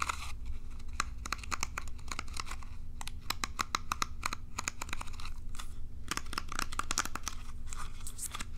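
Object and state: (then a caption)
Plastic bristle hairbrush. Long nails scratch and flick the rows of plastic pins on a plastic bristle hairbrush, producing a rapid stream of sharp, bright clicks and crinkly scratches over a steady low hum.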